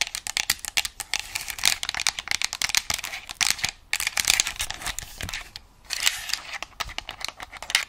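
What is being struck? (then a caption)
Plastic game controller. Long nails tap and scratch the plastic shell of a white and black plastic game controller held in front of a microphone. It makes a dense run of sharp, dry clicks and bright scratchy rasps with almost no low end or ring, broken by brief pauses.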